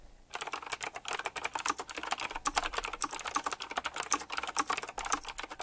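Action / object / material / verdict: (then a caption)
tap / mechanical keyboard with round plastic keycaps and metal-rimmed caps / plastic / none. Fingertips type quickly on a full-size typewriter-style mechanical keyboard with round black plastic keycaps, chrome-look rims and a metallic frame. The clip is a dense, steady stream of sharp, bright clicks with almost no low end, and each keystroke dies away almost instantly.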